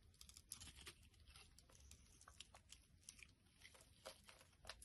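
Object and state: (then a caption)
Glycerin soap bar being shaved. A utility knife blade scrapes and shaves curls off a solid, translucent pink glycerin soap bar held in the hand. Quick, bright, crisp scraping strokes with a crinkly, crunchy texture repeat over a low, soft rumble. The cuts come close together, with sharper peaks standing out between them.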